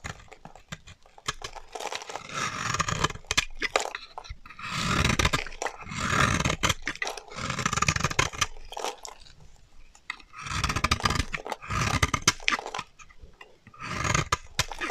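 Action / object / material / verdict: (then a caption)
scrape / bar of soap cut with a metal blade / soap / none. A solid, dry yellow bar of soap held in the hand is shaved with a metal utility knife blade, peeling off fine curls. Repeated crisp, crunchy scraping strokes rasp across a broad, bright range, each a burst of dry crackling separated by short pauses.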